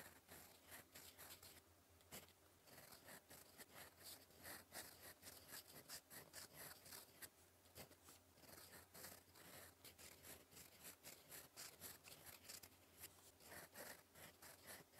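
A gold metal fountain pen nib, held in fingers, scratches across a flat sheet of cream lined paper on a desk while writing cursive. The result is a steady, quiet run of bright, dry scratching strokes with short gaps between them and a faint low hum underneath.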